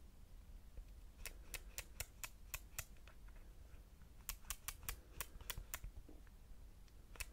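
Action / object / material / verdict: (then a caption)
tap / metal camera lens barrel with ridged aperture ring / metal / none. Fingertips on both sides tap and click the ridged aperture ring of a solid silver metal lens barrel, fitted with a lens hood, on a compact camera. Two quick runs of about seven sharp, bright, dry clicks each are followed by one last click, all over a low, steady background hum.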